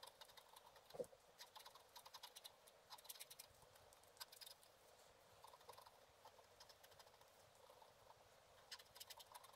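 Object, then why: Coated scratch art paper scraped with a wooden stylus. A thin wooden stylus scratches across a thin, solid black-coated scratch art card lying flat on a table and held by one hand. The result is a quiet, steady run of short, dry, bright scratching strokes and tiny clicks with almost no low end, and one sharper click near the start.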